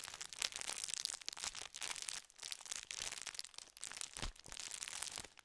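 A full, gold foil-lined metallized plastic biscuit tube is crinkled and squeezed with fingers. It gives dense, bright, crackling crinkles in quick bursts with brief pauses, with almost no low end and no ring after each crackle.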